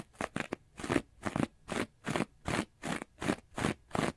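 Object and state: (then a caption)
Foam sponge scratched with fingernails. A hand-sized, rectangular, orange textured foam sponge, porous and soft, is held upright in one hand and scratched quickly and aggressively with the fingernails of the other. About twelve dry, crunchy scratching strokes are heard: three short, quick ones first, then a steady run of broader rasps. Each stroke is a bright, noisy burst that stops almost instantly, with quiet gaps between.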